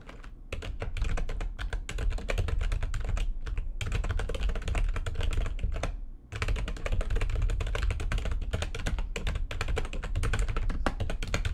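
Rapid typing with long nails on the keys of a plastic backlit computer keyboard makes a dense, steady stream of short clicks and clacks with a deep thudding undertone. The run pauses briefly just before 4 seconds and again around 6 seconds before picking back up.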